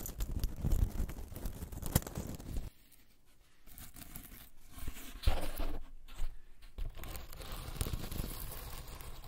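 A small, hollow, green-painted woven rattan ball cat toy is held in both hands and squeezed and scratched with long acrylic nails and fingertips close to the microphone. The result is a dense, crinkly, crunchy scratching with sharp crackles. The sound drops to a brief near-silence partway through before the squeezing and scratching resume.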